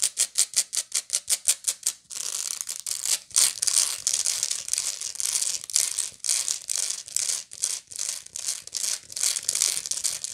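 Long nails on both hands scratch and pick at the raised weave around the center spiral of a round, hollow woven straw or raffia bag. It opens with a quick run of evenly spaced, crisp clicks, then turns into denser, continuous bright scratching with rapid clicky bursts. The sound is almost entirely high-pitched, with no low end.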